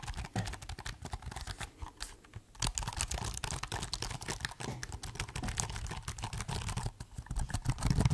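Fingertips type on the plastic keys of a silver laptop keyboard held up close, producing a steady stream of soft, rapid key taps. Each tap is a short, dull thump with a light bright click on top, dying away almost instantly. The typing briefly thins out around two seconds in, then resumes and grows slightly louder toward the end.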